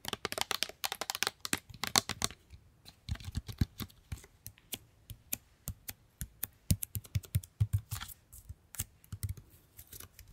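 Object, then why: Plastic squeeze bottle. Long painted nails tap and scratch a medium pink plastic squeeze bottle with a yellow cap, held up, hollow and partly full of paint. Rapid, sharp, bright clicks come in quick bursts, each with a short hollow low thump that dies away almost instantly. Faint scratchy rasps fill the gaps between taps.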